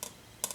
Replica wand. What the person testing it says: quand on tape un petit peu. Bon je suis pas fort mais ça fait vraiment un petit bruit aigu